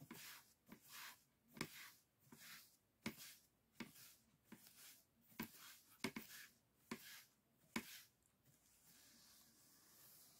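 A brush with a wooden handle rubs and sweeps over the thin bamboo ribs of an open folding fan with white painted paper. About ten bright, airy swishes follow one another, each starting with a sharp dry click, and the clip ends in a soft, steady hiss.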